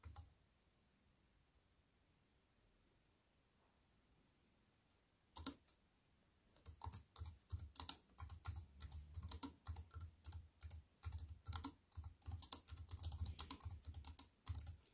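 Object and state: Plastic computer keyboard.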